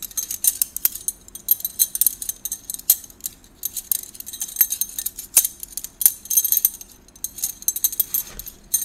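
A bundle of hollow gold metal drinking straws is held in both hands while the fingers shuffle and rub them against each other. It makes quick, bright metallic clinks and rattling in uneven bursts, each tick dying almost instantly. There is almost no low end and short quiet gaps between flurries.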